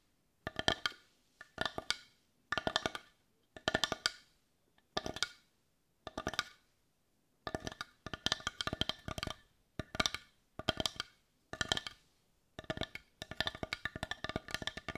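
Long nails tap rapidly on the rounded back of a hand-sized, hollow, heart-shaped dark brown wooden bowl. They land in quick bursts of bright, clicky taps with a hollow woody tone around 650 Hz, each dying out almost instantly, separated by brief silences and running nearly continuously toward the end.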